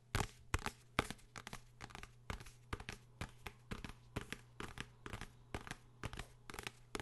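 A blue hardcover book is tapped and scratched by hand in a rapid series of about thirty dry, short taps. The taps have crisp, papery scratching between them and a faint steady low hum underneath. Each tap dies away almost instantly.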